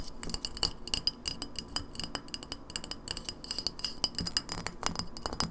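An empty clear glass lemonade bottle with a paper label, held sideways, is tapped rapidly with long nails on both the glass and the label. The result is a quick, uneven stream of sharp, bright clicks and clinks that die away almost instantly, over a faint low rumble.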